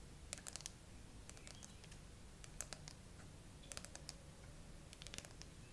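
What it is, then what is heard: Smartphone glass back tapped with fingernails. Long fingernails on both hands tap slowly across the glass back and camera bump of a bare graphite iPhone with a metal frame, held in a tripod holder. The sound is a scattered series of sharp, bright clicks with almost no ring, over a quiet, steady low rumble.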